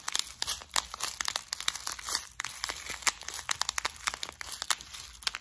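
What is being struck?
Small plastic compartment case holding metal beads.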